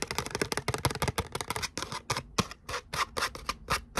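Long nails scratch and rub the glittery surface of a thin gold glitter cardstock letter "O" held in both hands. The result is a rapid, uneven run of short, dry, bright scraping strokes with faint low thumps, dense at first and then spacing out, with almost no ring after each stroke.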